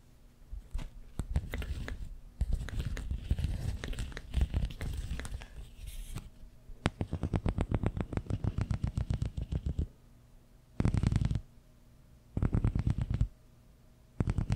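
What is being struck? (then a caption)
Corrugated plastic tube. Fingertips and nails scratch the ridges of a long, hollow, empty pink corrugated plastic tube arched over the microphone. Dense, irregular scratching and crinkling gives way to fast, rhythmic ribbed ticking, then short bursts of rasping separated by silence. The sound is close and heavy in the lows, with no ring after each stroke.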